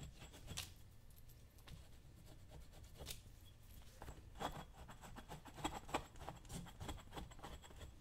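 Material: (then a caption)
Leather. A dull metal chisel held in the hand is scraped and rubbed over the toe and vamp leather of a worn brown leather lace-up work boot with a green welt, worn on a foot. Quiet, irregular scratchy strokes with bright, brief edges sound over a low background rumble.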